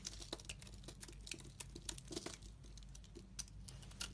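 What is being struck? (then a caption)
Bar of soap scraped with a metal blade. A solid, translucent brown glittery bar of soap is held in the hand and scraped into curls with a metal utility knife blade. The cuts come as a quick run of crisp, bright scraping and crinkling ticks over a steady low hum. Each scrape snaps off short and dry, with almost no ring.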